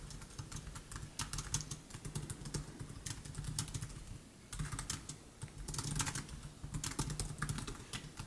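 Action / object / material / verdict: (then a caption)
tap / plastic laptop keyboard keys / plastic / none. Fingertips of both hands type rapidly on a MacBook Air keyboard, its black plastic keys set in silver aluminum. A fast, steady stream of light, crisp key clicks sits over a constant low hum, with a brief lull just before the middle.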